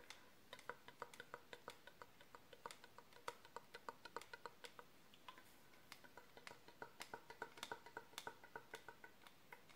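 A long, hollow, empty brown cardboard tube held in the hands is tapped and scratched along its length with long manicured nails and fingertips. The result is a quiet, steady stream of short, dry clicks and taps with a hollow ring around 950 Hz and bright scratchy edges, each tap dying away almost at once over a faint hiss.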